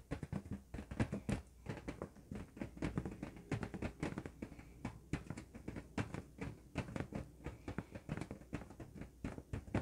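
Fingertips and nails tap and scratch the surface of an inflated, hollow, red LED-lit latex balloon held in both hands. A rapid, uneven series of soft, dull taps and thumps, weighted toward the low end, is heard, with brief scratchy rustles between them. Each tap dies away almost at once.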